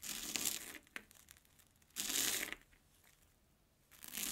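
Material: Puffed corn.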